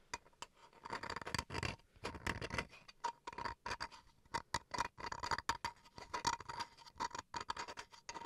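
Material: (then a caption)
Bamboo wood. Fingernails scratch and tap the grained face of a small solid bamboo wood chopping board held in the hands, making quick, quiet, dry clicks and rasping scrapes with a bright edge. The taps die away almost instantly, and a faint steady tone near 930 Hz runs underneath throughout.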